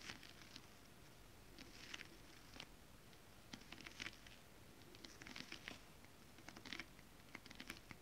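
Long decorated acrylic nails on both hands tap across a flat piece of iridescent silver mermaid-scale print stretch fabric (foil-coated spandex) laid on a surface. The result is an irregular patter of quiet, bright, crinkly clicks that die away quickly, with soft scratchy rustling between them.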